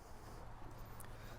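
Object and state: Nothing is struck.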